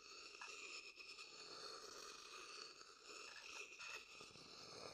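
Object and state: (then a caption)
Wooden bowl being scraped. A medium, dark-brown, hollow wooden bowl, empty and held close beside the microphone, is scraped around its inside with a wooden stick. The result is a quiet, continuous, bright scratching and grinding texture with faint crunchy rasps and almost no low end.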